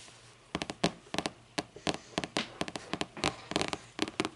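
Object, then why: Hardcover paper book. Long painted nails tap and scratch the front of a closed, thick hardcover book with a lime-green board cover lying flat on a wooden table. About eighteen short, crisp taps with a bright edge come in uneven clusters, each dying away almost at once, with a faint scratchy hiss between them.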